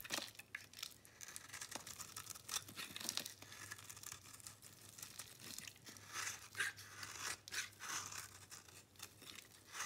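A metal blade scrapes a solid white bar of soap with a green rim, held in the palm, shaving off crumbly flakes and powder. The sound is a quiet, steady run of dry, bright scratching and crunching strokes with almost no low end. Faint, short bursts rise and fall as the blade drags across the bar.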